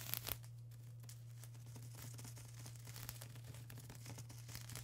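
A flat sheet of plastic bubble wrap is scratched and pressed by long acrylic nails and fingertips, producing soft, quiet crinkling and scratching with frequent short clicks. Bright crackles sit over a steady low hum, with a few louder bursts at the start.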